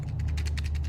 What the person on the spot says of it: you shake the box and it sounds like matches